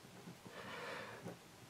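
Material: Nothing is struck.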